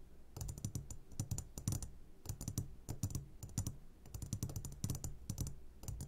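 Short fingertips of both hands tap quickly and irregularly on the sides of a medium glass jar turned upside down and full of sugared gummy candies. Each tap gives a brief, low, dull knock with a bright click on top, dying away almost at once, in clustered bursts like typing.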